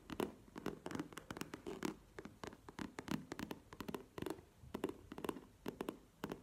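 Long painted nails tap and scratch a tall, hollow, soft map-print faux leather zip cosmetic pouch standing upright on a table. Quick, quiet taps with a muffled, hollow body come in irregular bursts, each with a bright clicky edge that dies away almost at once. Light scratchy rustles fill the gaps between them.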